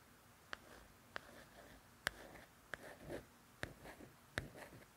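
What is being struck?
Softcover book with glossy paper cover.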